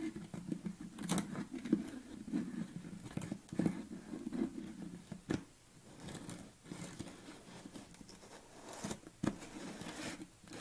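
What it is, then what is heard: Plastic tub lid. Fingernails scratch across the top of a yellow plastic lid on a tilted red BCAA tub. The result is a steady, rasping scrape with a low-mid tone, broken by sharp, bright clicks and brief pauses as the strokes start and stop.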